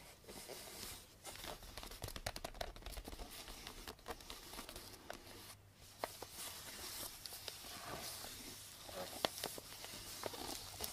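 Long blue nails and fingertips tap and scratch the sides of a small, hollow cardboard gift box wrapped in pink star-print paper with a purple ribbon. The result is a steady, bright, papery crinkling and scratching texture, broken by many sharp clicky taps. A brief quieter gap falls just before the six-second mark.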